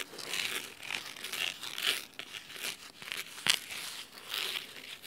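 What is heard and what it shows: Fingernails scratch the cloth spine and then the top cover of a blue cloth-bound hardcover book resting on a wooden table. The result is a quiet run of crisp, bright, crinkly scratching strokes with almost no low end, rising and falling in short bursts. One sharper, louder stroke stands out about three and a half seconds in.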